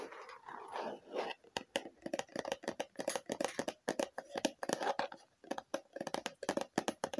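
Long fingernails tap quickly on a hollow red plastic lotion bottle with a label, held close to the mic. The opening is a soft scratchy brushing, then a dense run of crisp, dry clicks, each with a short hollow mid-range knock that dies away almost at once.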